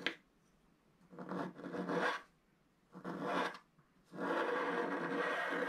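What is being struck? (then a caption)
Black-coated scratch art paper scraped with a wooden stylus. A wooden stylus scratches wave shapes into a black-coated scratch art page, about A4, solid and flat, in sparse strokes. After a brief tick, three longer raspy scraping passes are heard, separated by silence, each a dry, bright, papery rasp with no ring after it.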